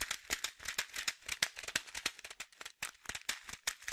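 A small blue and white printed plastic pouch of Aquarian fish food, about 15 cm long and partly filled with dry pellets, is held in both hands and shaken. The pellets rattle in quick, irregular bursts of about two dozen bright, crisp clicks and crinkles, mostly high-pitched, each dying away almost at once.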